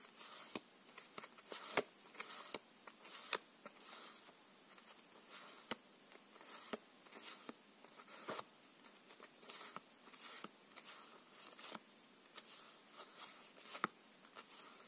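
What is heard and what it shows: A paper playing card deck is held in one hand while fingertips flip and slide single cards off the top. Eleven light, sharp flicks stand out over a soft, continuous sliding rustle. The sound is quiet and bright, with almost no low end.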